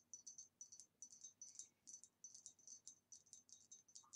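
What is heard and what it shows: Fast fingernail tapping on a green retro glass vase with a swirly pattern, from about the 1960s. Quick, bright clicks come in rapid bursts, each ringing only briefly with a high glassy tone. The tapping is quiet and steady throughout.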